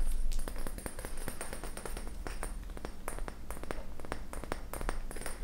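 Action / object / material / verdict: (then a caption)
tap / glass laboratory flask / glass / none. An empty, hand-sized, round clear glass laboratory flask with a long hollow neck is tapped and pinged with fingernails while held in the hands. Quick, irregular light taps and short bright pings fall about four per second, each dying away fast, over a steady low hum.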